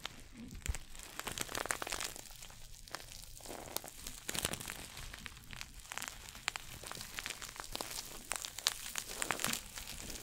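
A small red glossy coated-nylon pouch shoulder bag is held in both hands and scratched and crinkled with fingernails. The result is a quiet, steady stream of dense, bright crinkling and scratching with sharp crackly snaps and little low end.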